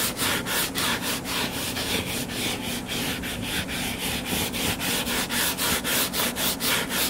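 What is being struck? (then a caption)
Closed hardcover book. Fingertips and nails scratch the cover of a closed, solid hardcover book lying flat on a table. The sound is a steady run of dry, bright scratching strokes in a loose back-and-forth rhythm, with a faint low hum underneath.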